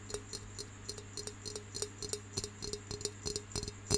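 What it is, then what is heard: Terracotta pencil holder. Fingertips and nails tap and scratch the plain side of a round, hollow, brown terracotta clay pencil holder that has been turned to show that side. The result is a quick, irregular series of short, dry clicks with a faint clay tone near 414 Hz and bright, crisp upper edges. A steady low hum runs underneath.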